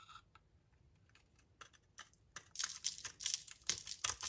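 A utility knife blade shaves thin curls off a solid rectangular dry purple soap bar held in the hand. Faint, sparse scrapes at first give way to a dense run of crisp, dry crackling strokes. The sound is bright and high with almost no low end.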